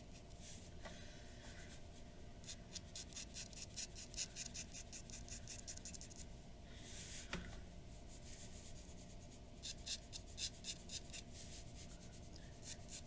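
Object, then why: Paper drawing sheet under a glass dip pen nib. A glass dip pen nib scratches fine lines across the face of a white paper sheet resting on a wooden desk. Quick, bright scratchy strokes come in rapid bursts, with a few longer drawn lines, over a steady low background hum.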